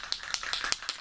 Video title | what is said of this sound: Plastic Models For Beginners Ep 4 | when you first start shaking it you may not hear the ball rattling around it's because it's stuck in the pigment on the bottom of the uh the can